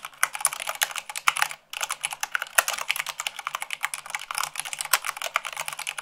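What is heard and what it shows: Fingertips and long nails type rapidly on a white plastic mechanical keyboard at about 98 words per minute. A dense, continuous stream of sharp, bright clicks and clacks carries almost no low end, with one brief pause partway through.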